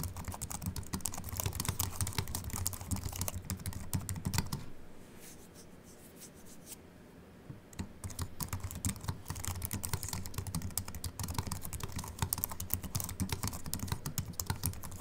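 Fingertip typing with both hands on a slim Apple Mac keyboard with an aluminium body and white plastic keys produces a steady stream of quick, bright, short clicks. The typing pauses to a quiet hush from about 5 to 8 seconds, then resumes at the same brisk pace until the end.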